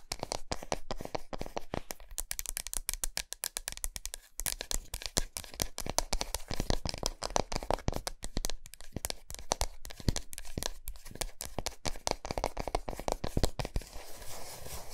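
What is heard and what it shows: Long nails rapidly tap and scratch the flat, smooth back of a large solid milk chocolate bar resting on a towel. The result is a fast, steady stream of short, dry clicks and soft low thumps mixed with brighter scratchy rasps, each sound stopping instantly with no ring.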